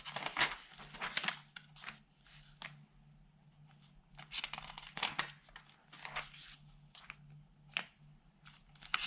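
An open newsprint newspaper lies on a table while fingertips slide over its thin pages and flip them. Bright, papery rustles and crinkles come in irregular bursts, with quieter sliding between them over a faint, steady low hum.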